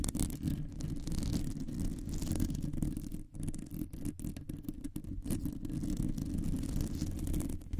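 Long nails scratch across a round, hollow metal mesh microphone grille, producing a continuous dense, rough scraping that sits almost entirely in a low, boomy rumble with very little high content. The texture stays steady throughout, with only brief dips where the nails lift or change direction.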